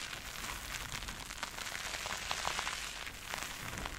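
A purple porous synthetic sponge covered in soap foam is pressed, dug into and squeezed with both hands by long red nails. It gives a steady stream of wet, bubbly crackles and fizzing pops, bright and hissy with little low end, with brief louder crackle bursts.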